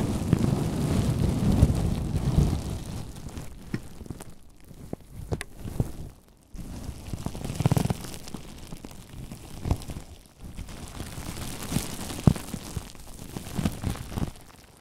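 A large sheet of clear plastic bubble wrap wrapped around a microphone is rubbed with fingertips and palms, then squeezed and crinkled. The result is a deep, muffled rumbling rustle in long bursts, broken by brief quiet gaps and sharp, irregular crackles and pops.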